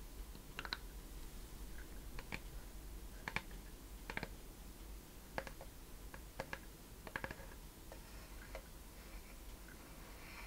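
Long painted nails tap and scratch on the wooden lid and front of a small, hand-sized wooden treasure chest, likely hollow, with a curved lid, metal latch and corner studs. Quiet, sharp, dry clicks come in irregular clusters, with brief scratching between them, over a steady low background rumble.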